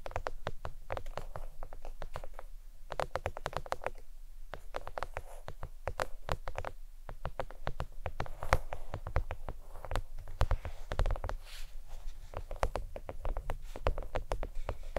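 Long pointed nails tap rapidly across the surface of a thin, flat, red faux leather oval desk mat with a stitched edge, lying on a towel. The result is a steady patter of short, dry clicks with bright tips and a soft low thud underneath. There are occasional brief pauses between quick flurries.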